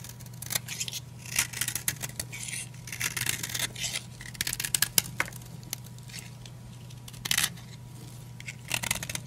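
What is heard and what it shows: A utility knife blade repeatedly shaves and cuts a solid blue oval bar of old, dry, crumbly soap held in the palm. The result is a run of short, bright, crisp scraping and crunching cuts, with brief pauses between strokes over a steady low hum.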